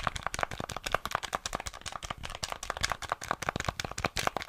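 Fingertips and nails quickly tap and click the buttons and casing of a small, flat, hollow grey plastic NES gamepad held in both hands. The result is a rapid, uneven run of dry, short plastic clicks centered around 1.2 kHz with bright edges, each dying away almost instantly.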